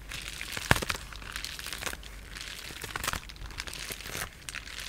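A sheet of clear polyethylene bubble wrap with air-filled bubbles is held flat in both hands while fingertips and short nails tap, scratch and press the bubbles. A steady, bright crinkling and crackling texture runs throughout, with one sharper snap early on standing out above the rest.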